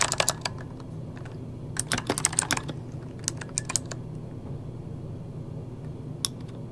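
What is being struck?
Plastic mechanical computer keyboard.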